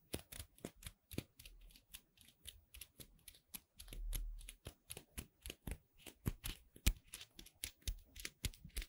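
Two small dark gray solid cornstarch foam playcorn pieces, held between the fingertips of both hands with long red nails, are squeezed and rubbed close to the microphone. About 35 short, crisp, bright squeaking and crackling bursts follow one another quickly, each with a faint low thump beneath it. A brief, softer low rumble swells in the middle of the clip.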